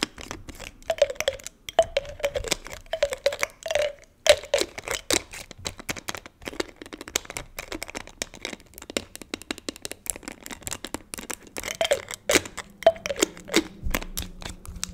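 A small clear plastic spray bottle with a white pump and pink liquid inside is held in one hand and tapped with long nails on the pump and the body. The result is a rapid stream of short, crisp, clicky plastic taps with bright edges and a hollow, faintly pitched ring near 600 Hz, each dying away almost at once.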